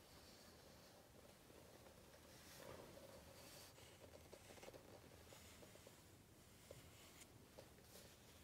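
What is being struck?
Coated paper book page.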